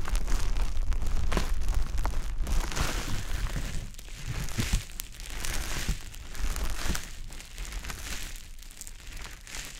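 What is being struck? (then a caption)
Konjac fibre sponge. A soft, porous, wet konjac fiber sponge puff, held by the fingertips, is rubbed and pressed repeatedly over a dummy-head ear. It makes continuous crinkly, wet squishing sounds with a low rumbling undertone. The sound is busiest and loudest in the first few seconds, then eases into quieter, intermittent squishes.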